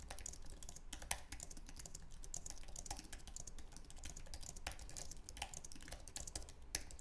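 Fingertips type fast on the plastic keys of a white, low-profile wireless Apple Magic Keyboard with an aluminum base. A dense, continuous stream of short, bright, clicky keystrokes with almost no ring plays over a steady low hum, with a few sharper, louder taps standing out.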